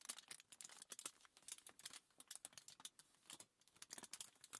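A crumpled sheet of thin aluminium foil lies flat on a table while long nails and fingertips tap, scratch and rub across it. The result is a quiet, dense stream of sharp, bright crinkles and clicks with almost no low end.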